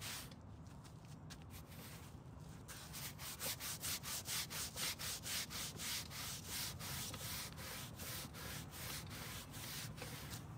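A long dark grey carpet rear car floor mat, wet with cleaner and lying on a folding table, is scrubbed by a gloved hand with a green-bristled hand brush. Rapid, steady back-and-forth strokes give a bright, hissy scrubbing rasp over a low background rumble, at about two strokes per second. The strokes grow louder and more even after a quieter, sparser start.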